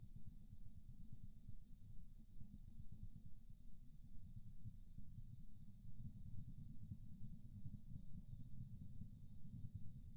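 A wooden colored pencil scratches and rubs across a paper mandala coloring page resting on a soft surface, making short, steady coloring strokes. The sound is a quiet, continuous, low, papery scrape with a faint bright hiss above it and no pauses between strokes.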